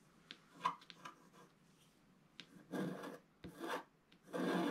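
A wooden stylus scrapes the coating in the middle of a flat scratch-art paper sheet, giving quiet, dry rasping strokes. A few short scratches are followed by three longer, louder scraping passes.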